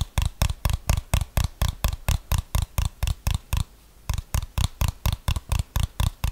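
A handheld plastic TV remote control with rubber buttons is held near the microphone and tapped and scratched with fingernails. About 25 quick, dry taps come in a steady rhythm, each a short low thump with a bright clicky edge that dies away almost at once, with a brief pause just before the four-second mark.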